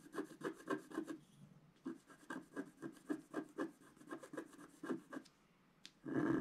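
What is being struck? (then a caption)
Coated scratch art card scraped with a wooden stylus. A wooden stylus scrapes fill strokes across the lower design of a flat scratch art card (coated black card). Quick, rhythmic, dry scratching strokes come about four per second, pause briefly, then resume. The clip ends in a louder, sustained scrape.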